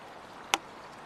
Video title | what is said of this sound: Los herederos de Stradivarius - Documental | Hay algo que lo obstruye. El sonido raspa. No tiene un tono claro. Hay dos tonos.